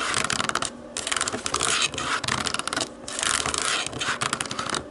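Long painted nails tap and press the white rubber buttons of a hollow black plastic TV remote lying on a wooden table. Quick, bright clicking taps run together with scratchy scraping in dense bursts separated by brief pauses.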